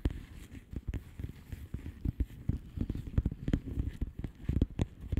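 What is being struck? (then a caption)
Plastic bubble wrap envelope. Long nails tap quickly across the bubble surface of a flat blue plastic bubble wrap envelope. The result is a steady patter of soft, dull, low taps that stop short with no ring, some landing a little harder than others.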